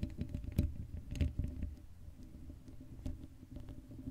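Long acrylic nails scratch the black metal mesh grille of a Blue Yeti microphone, a hollow dome with no cover on it. The result is a muffled, low-heavy rumble of irregular scraping bursts, with faint bright crackles at the sharpest strokes.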